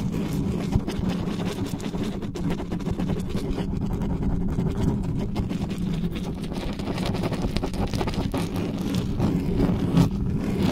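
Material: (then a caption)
Metal mesh. Hands cup and grip the uncovered grille head of a dark metal USB condenser desktop microphone while long nails rapidly scratch and rub the metal mesh. The result is a steady, dense, low rumbling scrape with a faint hum-like tone and very little bright content.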